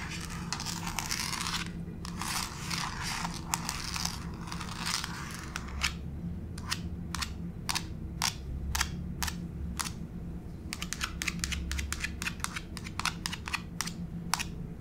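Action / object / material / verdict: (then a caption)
tap / laminate floor / laminate / none. The tips of long pink fake nails scratch and scurry quickly across a solid grey wood-grain laminate floor, making a dense, bright crackling texture. They then switch to sharp, dry clicking taps, spaced apart at first and then coming in a faster run. A steady low hum sits underneath throughout.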